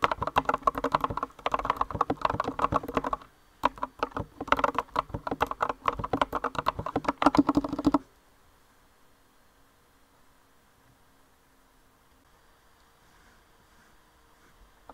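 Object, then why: Mechanical keyboard with round plastic keycaps. Two hands with long nails type on a compact green mechanical keyboard with rounded white and green plastic keycaps, giving rapid, uneven clacking key presses. A burst of typing runs for about three seconds, then after a brief pause a second burst continues until about eight seconds, and the rest is near silence.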